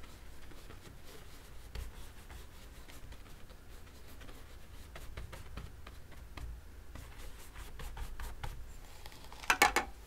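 A thin paint brush held in the fingertips rubs short strokes across a large rectangular stretched canvas covered in wet oil paint, lying on a table. Quiet, soft scratchy brushing ticks repeat over a low background hum, ending in a louder, brighter burst of strokes near the end.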